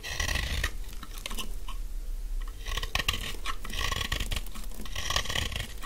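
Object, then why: Bar soap shaved with a knife blade. A thin, carved, solid stick of dry yellow bar soap is held in the hand and shaved with a utility knife blade. Close, crunchy scraping bursts come in dense clusters, with bright crackle over a steady low rumble. Brief quieter pauses fall between the passes of the blade.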